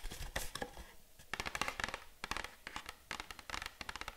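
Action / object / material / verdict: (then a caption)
tap / small cardboard box / cardboard / none. Long acrylic nails tap and scratch the front face of a small, hollow printed cardboard box held in both hands. Quick, dry clicks and papery scratches come in clustered bursts, with bright crackling detail and short, fast-fading ticks over a soft hollow thump.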